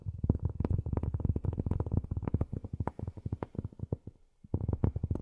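Long nails rapidly tap and scratch a large, flat, solid round cork board, producing a dense stream of soft, dull, low-pitched knocks with very short decay. The tapping slows and thins out briefly before resuming in a quick burst at the end.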